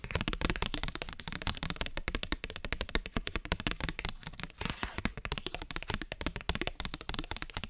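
Fingernails tap quickly on a thin cardstock paper postcard held horizontally, making a steady stream of dry, crisp clicks with a soft low thump under each. Every tap dies away almost at once, and the rapid rhythm runs without pause for the whole clip, briefly blurring into a brighter, hissier patch near the middle.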